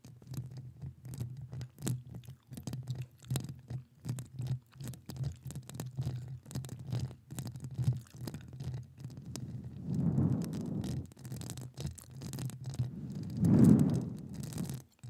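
Long acrylic nails rapidly scratch the hollow metal mesh grille of a studio microphone, with the mouth kept closed. The result is a fast, uneven patter of scratchy taps over a low, boomy hum. It swells into two louder, rougher rubbing bursts near the end.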